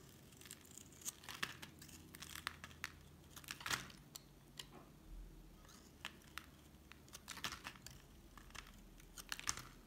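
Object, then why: Bar of soap cut with a metal blade. A solid white rectangular bar of soap, held in hand, is shaved with a metal utility knife blade, and the flakes fall onto a red board. The clip is a quiet string of short, sharp scraping and scratching cuts with bright, crisp crackle and very little low end. Each stroke cuts off quickly, leaving faint background hiss between them.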